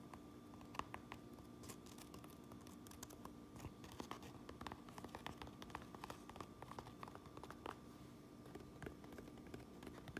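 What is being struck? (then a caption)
Fabric and mesh trucker cap with stitched patch. An empty Uinta Brewing trucker cap with black front panels, a white mesh back, a red bill and a stitched patch lies on a granite counter while long manicured nails tap across the front panel, patch and bill. Quiet, soft scratchy taps and light patter follow one another rapidly, each dying away almost instantly over a faint steady background hum.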